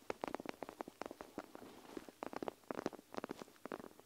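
Long nails scratch and squeeze a panda plastic gel-bead eye mask draped over the recorder, pressing on both the plastic and the beads inside. A quiet, rapid series of short, dry clicks and crackles comes in bursts, with a faint soft rustle between them.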